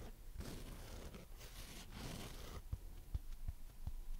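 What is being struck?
Foam sponge.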